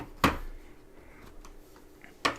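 A copper Lincoln cent from a 1951-S plastic-tubed roll, coin number three, is dropped or tapped twice, giving two short, bright clinks with a quick decay and faint ringing in between. Its ring sounds wrong and hollow, almost like a silver dime, and the coin weighs 2.7 grams, making it a very underweight cent.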